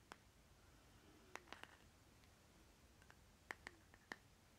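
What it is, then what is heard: Plastic lip butter jar. Fingernails tap and scratch the side rim and bottom of a small, round plastic lip butter jar with a green plastic lid, held in the hand. Eight short, bright, dry clicks sound at irregular intervals over a quiet background, with no ring after each tap.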